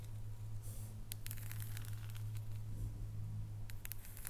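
Long nails tap on the square segments of a solid dark chocolate bar lying flat on a wooden table. Quick, irregular clicky taps with bright, crisp edges ring over a steady low hum throughout.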